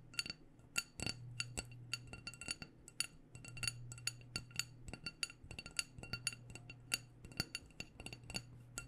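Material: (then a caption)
Glass. Long painted nails tap all around a small black glass candle jar with a white label, filled with wax, in a quick, irregular run of dozens of bright, clicky taps. Each tap is short and dry with a glassy tone near 2.7 kHz and barely any ring. A low, steady hum runs underneath.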